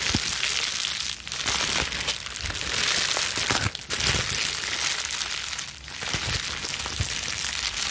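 A plastic bubble wrap sheet is crushed in clenched fists and then squeezed into a ball, scrunching continuously. The result is a dense, bright crinkling and crackling with scattered sharp pops and brief dips between handfuls.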